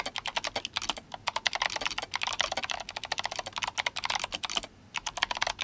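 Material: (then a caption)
Plastic. Fingertips of both hands type rapidly on a compact RGB-backlit GMMK Compact mechanical keyboard with Kailh Box White switches and plastic SA keycaps in yellow and blue. A fast stream of bright, crisp clicky keystrokes with very short decay comes in quick bursts, broken by a brief pause near the end.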